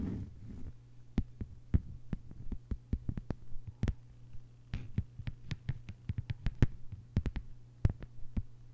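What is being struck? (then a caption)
Thin plastic cutting mat. Long white-polished nails of both hands tap a thin, solid, flat lime-green plastic cutting mat lying on a table. Quick, irregular, short clicky taps die away almost instantly over a steady low hum.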